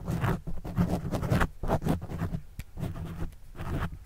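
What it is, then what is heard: Foam microphone windscreen being scratched. A plastic pen tip writes and scratches across a black foam windscreen on a microphone. It makes a series of uneven, close-up scratching strokes, heavy in low, muffled rumble with brief brighter hiss at the start of each stroke. Short pauses fall between the strokes.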